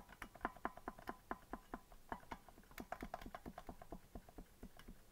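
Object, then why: Plastic melodica keys. Fingertips tap the plastic keys of a hollow green plastic melodica that is not being blown, making about two dozen quiet, dry clicks at an uneven pace. Each click is short and sharp, with a midrange knock around 1 kHz and almost no ring.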